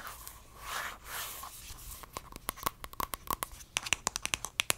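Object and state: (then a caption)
Plastic squeeze tube. Long dark nails scratch along a small, hollow pink plastic cosmetic squeeze tube held in the hands, making soft, breathy rubbing swells for the first two seconds. Then the nails tap the tube and its cap in a quick, uneven series of sharp, dry, bright clicks with almost no ring.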